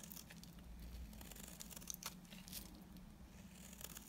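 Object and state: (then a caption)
Tar bar soap being scraped. A solid, dry, dark brown tar soap bar held in the hand is scraped into brown curls with a utility knife blade. Soft, dry scraping and crumbly shaving sounds with bright, crackly bursts come over a low, steady hum.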